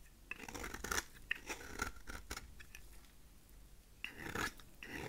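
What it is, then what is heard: Dry soap bar being shaved. A utility knife blade shaves the face of a thin remaining slab of solid dry cream soap. Short dry, crackly scraping strokes come in bursts with bright, gritty texture and brief quiet gaps between them. Each stroke stops dead with no ring.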